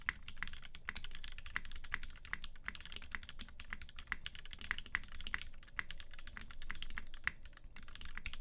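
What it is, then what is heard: Mechanical keyboard, typing. Both hands type continuously with fingertips on a UTD 360C tenkeyless mechanical keyboard, which has a gummy-worm mount, Vintage Black switches lubed with 205g0 and filmed, white PBT keycaps and a silver aluminum case. A steady stream of short, dry keystrokes sounds, each with a bright clack peaking near 2 kHz over a soft low thud, with almost no ring after each press.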